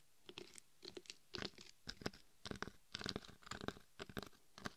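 Long acrylic nails scratch and tap the face and sides of a life-size hollow mannequin-head binaural microphone covered in chunky gold and red glitter. Quiet, irregular bursts of gritty, crunchy scratching mix with short dry taps, each dying away almost at once, with a bright, sandy texture over a faint low thump.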